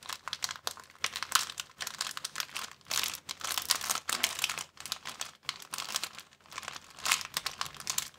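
A thin, empty clear plastic bag is crumpled and flattened by both hands. It makes dense, bright crinkling in rapid overlapping bursts with brief pauses, with almost no low end.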